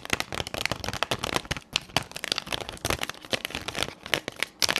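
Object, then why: Plastic blister pack with card backing. Long pink nails tap and scratch a hand-sized retail blister pack: a clear plastic shell over three pastel highlighter pens on a printed cardboard backing. The result is a dense, bright run of crisp clicks and crinkly scrapes, mostly high-pitched, with each sound stopping dead and no ring.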